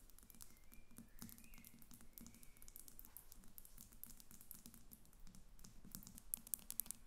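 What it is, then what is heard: Glass perfume bottle. Long nails on both hands tap rapidly on the front and sides of a glass perfume bottle standing on paper on a glass table. The quiet, dense patter of light, crisp clicks runs continuously over a low steady hum, with a few sharper ticks near the end.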